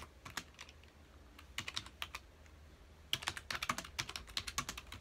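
Both hands press the keys of a full-size black plastic computer keyboard on a dark desk with their fingertips, typing rapidly. Bright, crisp plastic clicks with very short decay come first in scattered taps, then pause briefly. A denser, louder run of typing follows through the end.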